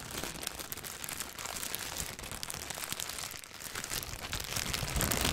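A thin clear plastic bag is crumpled, stretched and rubbed between the fingers, making a steady stream of dense, bright crinkling and crackling. The quick, irregular rustles hold a fairly even level and grow louder toward the end.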